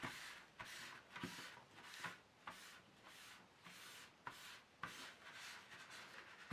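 An empty, long black plastic paint tray insert is held at the edge with one hand while the other hand wipes and rubs its surface with a tissue. Repeated bright, hissy rubbing strokes swell and fade in an uneven rhythm, broken by a few short, sharp scuffs where the tissue catches the plastic.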